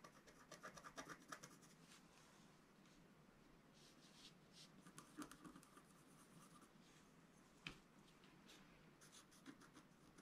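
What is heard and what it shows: A wooden stylus scratches lines into the lower middle of a flat, black-coated scratch-art sheet, about A4 in size, lying on a table. Quiet, dry, scratchy strokes come in irregular clusters of short, bright rasps over a soft hiss. One sharper tick stands out near the end.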